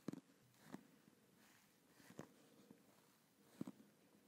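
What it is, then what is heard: Plastic gaming headset. Fingertips and nails tap and scratch the plastic earcup shells of a black and blue over-ear gaming headset with padded ear cups, held close to the microphone. Quiet, hollow, low-mid plastic clicks come in small clusters, with brief scratchy rustles between them.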